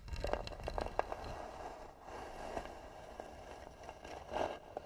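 Long nails scratch the lid of a hollow, tan, carved wooden box. The result is a quiet, dry, continuous scraping with crisp ticks and brief louder swells, centred in a mid pitch with little bright content.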